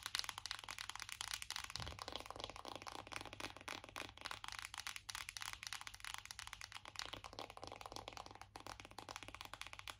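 Long acrylic nails tap rapidly on the back of a closed black matte cardboard eyeshadow palette. The result is a dense, continuous stream of quick, dry, high clicks with almost no ring, and the individual taps blur together over a faint low hum.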